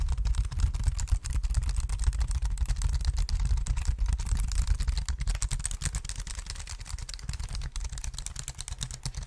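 A black plastic wireless keyboard is held against the microphone while fingers tap its keys and scratch along its case. The result is a fast, uneven stream of soft, short clicks and scratchy rustles over a heavy, boomy low thump from the close contact.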